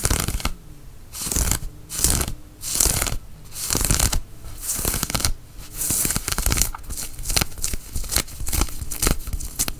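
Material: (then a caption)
Cotton fleece. Fingernails scratch and rub the knit fabric of a worn grey cotton fleece sweatshirt sleeve and cuff. Repeated bursts of dry, bright, scratchy friction noise alternate with brief quieter pauses, with a soft low rumble underneath.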